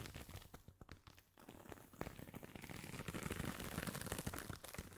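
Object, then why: Woven jute coaster. A round, flat, palm-sized woven jute or straw coaster with a dark crocheted fabric rim is held in both hands and scratched and rubbed with the fingertips across its woven surface. Dry, crinkly scratching crackles in quick, uneven strokes, dipping briefly quiet a little past one second. It then turns into louder, denser rubbing that carries a bright papery texture through the rest of the clip.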